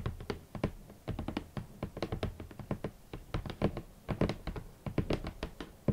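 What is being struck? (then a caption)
Rigid cardboard shoe box. Long nails tap quickly on a large, hollow, rigid red cardboard shoe box. The short, dry taps come in an uneven rapid run, each giving a soft, low, hollow thunk that dies away almost at once, with a little bright click on top.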